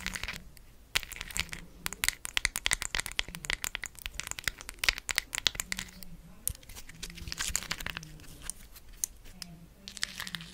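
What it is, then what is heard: Cork coaster with plastic gems. Long acrylic nails tap and scratch a round, palm-size solid cork coaster held in one hand, its surface covered with large, colorful faceted plastic rhinestone gems glued on. Quick, bright, dry clicks and crisp scratching scrapes come in dense bursts with short pauses, each tap dying out instantly.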